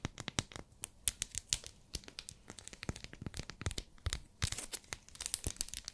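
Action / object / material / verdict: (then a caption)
tap / glycerin soap bar in a plastic wrapper / plastic, soap / none. Long nails tap and scratch a small, solid, pink, translucent glycerin soap bar still in its plastic wrapper. A rapid, irregular series of sharp, crisp taps mixes with bright, crinkly scratching of the plastic, each click dying away almost instantly.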